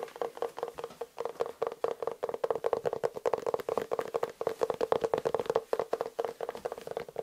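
Fingertips and nails tap and scratch the smooth leather upper of an empty, hollow black leather lace-up shoe in Dr. Martens style with a yellow-stitched sole, held close. Rapid, dry, hollow taps with a woody tone around 480 Hz follow one another in quick, uneven bursts, each dying away almost instantly, with light scratchy texture between them.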